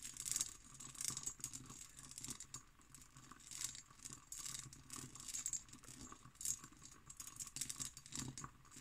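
An empty, hollow hobnail-pattern cut glass decanter with its stopper is scratched and tapped with long green nails. Quick, bright clicks and raspy scratches with almost no ring repeat throughout.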